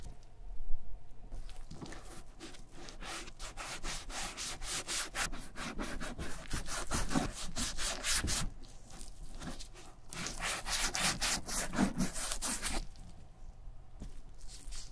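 Gloved fingers rub balm along the top edge of a black vintage German leather satchel, near its tan riveted handle strap. Quick, steady back-and-forth rubbing strokes make a soft, bright, scratchy hiss over a low rumble. There are two runs of strokes, with a brief quieter pause between them.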